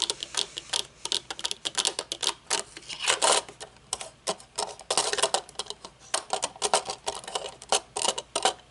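Long nails tap rapidly on a pair of folded metal-frame aviator sunglasses with dark lenses resting on a wooden table, striking the lenses, metal bridge and hinges. Dozens of short, bright clicks and ticks come in uneven bursts, with almost no low end and very little ring after each tap.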